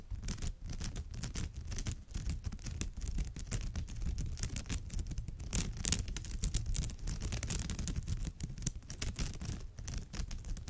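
Long almond-shaped nails scratch the surface of a woven straw bag with both hands. The result is a dense, continuous rustling scratch with a heavy low rumble underneath and bright, crackly strands on top, swelling slightly in the middle and staying steady throughout.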